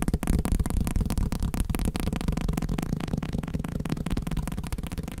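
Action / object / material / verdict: tap / block of paper / paper / none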